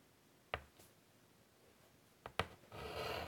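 White chalk held in the fingers taps three times against a large flat chalkboard in a wooden frame, with quick bright clicks that die away almost at once. It then drags across the surface in a steady, scratchy, bright rub as it draws curved lines until the end.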